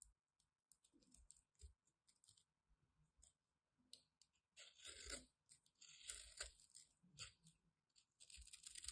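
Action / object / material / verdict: scrape / bar of soap cut with a blade / soap / none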